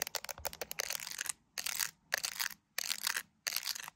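Long nails tap and scratch the camera area and the resin gummy bear charms of an iPhone in a clear plastic case. The clip opens with a quick run of sharp, bright clicking taps, then four separate bursts of dense, crackly scratching, each lasting about half a second with short silences between. The sound is quiet, high and crisp, with almost no low end.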